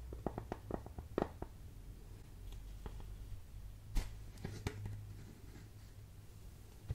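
Fingertips and nails tap and scratch on the ribbed plastic lid and upper part of a large clear plastic jar filled with colorful pom-poms and small soft items. A quick run of short, dry taps in the first second and a half gives way to soft scratching, then a few sharper taps near the four-second mark and one at the end. A steady low hum sits underneath throughout.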